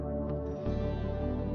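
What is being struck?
Nothing is struck.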